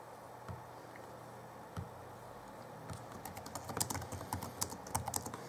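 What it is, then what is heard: Plastic laptop keyboard typing. Both hands type rapidly on the backlit plastic chiclet-key keyboard of a 2011 Alienware M11x laptop, fingertips pressing and tapping the keys. A couple of isolated soft thumps open the clip, then dense, steady keystrokes follow: short, dry, bright clicks over dull low knocks against a faint background hiss.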